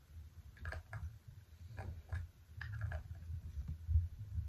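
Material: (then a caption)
Plastic, metal. A small round purple plastic cosmetic jar with a silver metal lid, held in both hands against a white surface, is tapped and scratched with long nails on the lid and sides. Sharp, short clicks and brief scratchy strokes stand out over a steady low rumble.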